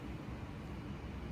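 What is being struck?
Nothing is struck.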